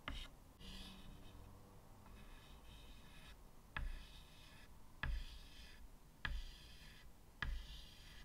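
White chalk draws small lines at the right side of a medium, flat chalkboard with a wooden frame, making scratching strokes. Five distinct taps sound as the chalk meets the board, each followed by a bright, raspy scrape over a quiet low hum.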